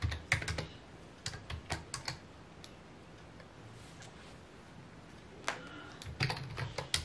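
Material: Plastic.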